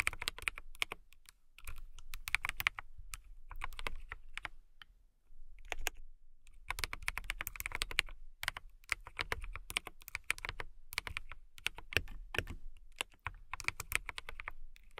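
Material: Acrylic.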